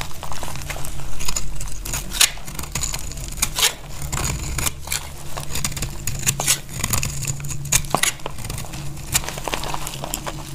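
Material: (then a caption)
Soap. A utility knife blade cuts thin, brittle slices off a partly cut, dry, solid purple bar of soap held in the hand. Crisp, bright crackling snaps and scrapes come in quick, irregular bursts over a steady low hum, each cut dying away almost at once.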